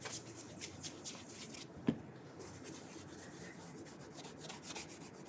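A burgundy leather dress shoe, fitted with a shoe tree and held up, is polished with an orange cloth wrapped on the fingers. Soft, steady rubbing strokes brush across the leather, with bright, airy swishes and one sharper tap partway through.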